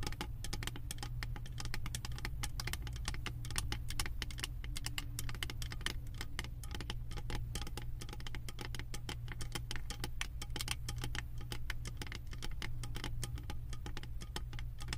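Long acrylic nails tap and scratch a round, embossed metal lid covered in small metal beads on a full candle jar. They make a dense, continuous run of quick, bright clicks and scraping ticks that die away fast. A steady low hum sits underneath throughout.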